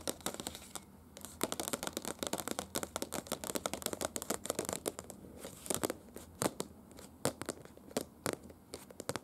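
Long pointed acrylic nails tap and scratch the surface of a glossy printed paper brochure lying flat. A dense run of sharp, crisp clicks and papery scratches with a bright hiss spreads across the whole clip, with little low end and quick, dry decays.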